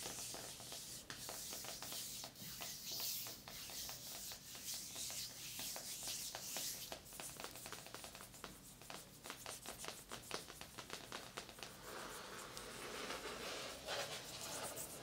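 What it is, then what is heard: Coated fabric body wrap blanket. Long acrylic nails scratch and rub the crinkly synthetic coated surface of a large, padded, silver-grey coated fabric sauna body wrap blanket lying flat on a bed. The result is quiet, bright, crackling rustles and rapid, uneven scratching strokes with very little low end.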